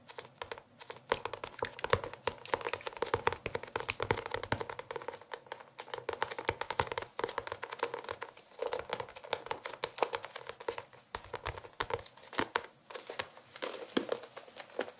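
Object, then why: Cloth-covered hardcover notebook. Fingertips tap and scratch on the cover of a closed blue hardcover cloth notebook, close to the microphone. Dense, quick, dry taps and scratchy rustles run continuously with almost no ring, centered in the midrange around 470 Hz with some bright crackle above.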